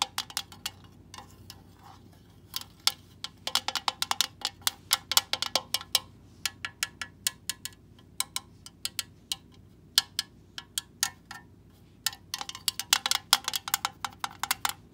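Long acrylic nails and fingertips tap and scratch across the raised surface of a fairly large, hollow, gold-coloured, leaf-shaped embossed metal tin lying on a dark carpet. The result is bursts of quick, bright, sharp clicks that die away almost instantly, with brief quiet pauses between clusters and faint scratchy texture underneath.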